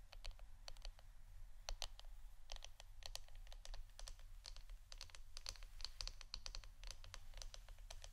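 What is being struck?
Wooden incense stick holder.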